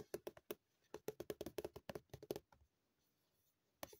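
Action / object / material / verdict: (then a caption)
tap / plastic cream tube / plastic / none. A hollow white plastic Dr. Sea multi-purpose cream tube, likely partly full and lying flat, is tapped and scratched with long painted nails. A quick run of short, dry, hollow ticks with a low-mid knock plays for about two and a half seconds, then a pause and one final tap. Each tap dies away almost instantly.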